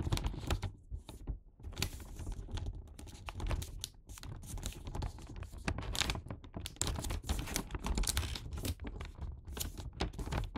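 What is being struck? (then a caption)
Paper gift bag. Fingers repeatedly fold and crease the red paper top edge of a filled Santa paper gift bag. Crisp, bright paper creasing and crinkling sounds come in quick, overlapping bursts over a low rumble throughout.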